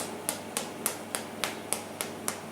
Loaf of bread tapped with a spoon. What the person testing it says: tap it with a spoon and it sounds Hollow you don't want it to sound dense you want it to sound hollow